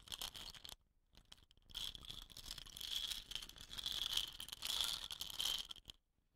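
Long painted nails tap and scratch a hollow, dot-painted wooden rain stick with a woven rattan end, standing upright on dark cloth. The sound is a bright, crisp, rattly scratching with a steady ringing tone near 3.2 kHz and almost no low end. It comes in bursts, with a short quiet pause around the first second, and stops just before the end.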